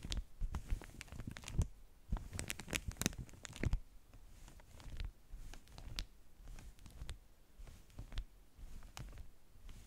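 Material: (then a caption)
Waxed cotton. Fingertips and long nails rub, tap and scratch the top sheet of a flat stack of beeswax-coated cotton wraps. Soft crinkling, tearing-like rustles and sharp little taps come in dense bursts, busiest in the first four seconds, then quieter and sparser, with a dull low body under bright, brief clicks that die away at once.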